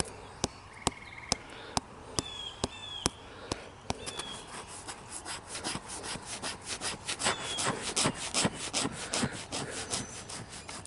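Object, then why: Living tree trunk with bark. Fingers and short nails of a bare hand scratch and rub the textured grey-green bark of a slender, standing, living tree trunk of solid wood. Sharp, dry clicks come at spaced intervals at first, then give way to denser, bright scraping strokes that grow louder. Faint high chirping tones are heard in the background.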